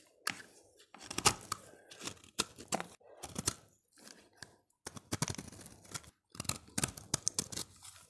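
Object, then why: Bar of soap. A utility knife blade scrapes a solid, dry, oval orange bar of soap held in the hand. Short bursts of crisp, bright scraping and crunching come in quick clusters with brief silent gaps between strokes, each stroke stopping dead with no ring.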